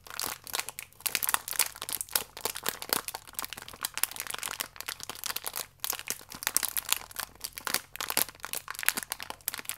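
A full, thin, crinkly plastic wrapper holding a single cereal biscuit, printed yellow with a clear window, is held in both hands and rubbed and squeezed with fingertips and medium-length nails. It makes a steady stream of dense, bright crinkling and sharp crackles with almost no low end, pausing briefly now and then before the crinkling resumes.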